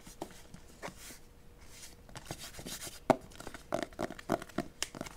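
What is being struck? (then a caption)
Cardboard album box. Long nails tap and scratch the flat cover of a white cardboard album box (BE), about notebook size, held upright. Soft scratchy rustles lead into quick, dry, hollow taps with almost no ring; the sharpest tap lands around the three-second mark, followed by a faster run of clicks.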